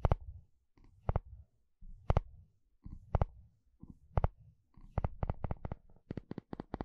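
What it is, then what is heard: Plastic comb strummed with a wooden spatula. A wooden spatula strums and scratches across the long, wide teeth of a blue plastic comb. Sharp, bright clicks ring out in uneven bursts over a low, rumbly scratching, and the strums come quicker and more evenly toward the end.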